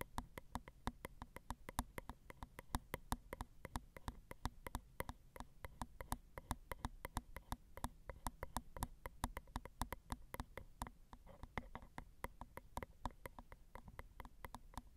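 A long glitter acrylic nail taps along the ridged metal microphone capsule of a Zoom recorder, making a quick, steady run of short, dry ticks for about fifteen seconds. Each tap dies away almost instantly over a low, steady hum.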